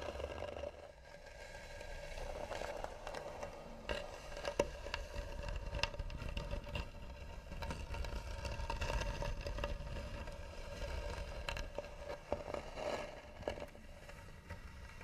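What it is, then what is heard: Carved wooden box scratched with nails. Long nails scratch slowly and firmly across the lid of a hollow, tan carved wooden box. The result is a steady, low, scraping rasp with a constant mid-pitched hum underneath, broken up by short, sharp clicks and ticks as the nails catch on the carving.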